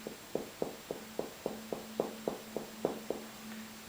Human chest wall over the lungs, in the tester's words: quite a resonant sound because I'm tapping over my lungs where there's lots of air